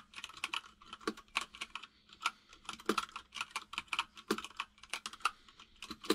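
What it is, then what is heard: Plastic mechanical keyboard. Fingertips of both hands type on a full-size mechanical keyboard with white and grey plastic keycaps and a hollow case. The result is a rapid, uneven run of crisp, bright plastic key clacks, each dying away almost instantly, with a light hollow knock underneath and almost no deep bass.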